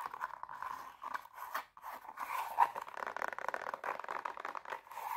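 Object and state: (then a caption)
Glitter fabric high heel shoe. Long painted nails rapidly scratch the glitter toe of an empty silver glitter fabric high heel pump with a black sole and heel, and tap its sole. The result is a fast, dry, crunchy scratching centered in the midrange, with brief gaps and one sharper, louder tap partway through.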